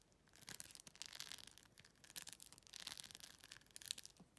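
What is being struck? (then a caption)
Plastic phone case with plastic rhinestones. Long nails scratch and tap quickly across a clear plastic phone case covered in glued-on plastic rhinestones. The result is a quiet, dense stream of bright, crisp clicks and scratchy rasps, mostly high-pitched, that come in uneven bursts with no ring after each contact.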